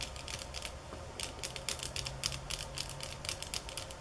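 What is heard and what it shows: Fingernails tap on bamboo sticks in a quick, uneven series of short, dry, bright clicks that vary in speed and force. Each tap dies away almost instantly over a faint low hum.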